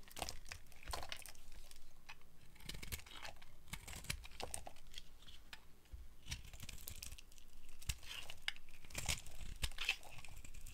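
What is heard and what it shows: A hand-sized, solid, opaque yellow bar of dry soap is held in the hand and scraped and carved with a small metal blade, curling off shavings. Quiet, dry scraping strokes come in an irregular stream of crisp crunches and tearing crackles, with bright edges on the sharper cuts.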